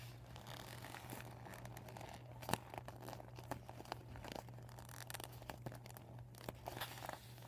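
Fingertips and short nails scratch and crinkle the blue panel of a folded, empty, deflated PVC vinyl beach ball with blue, white and yellow panels. The result is a quiet, steady run of soft crinkling and scratchy rustles with frequent sharp little clicks. A low, constant hum sits underneath throughout.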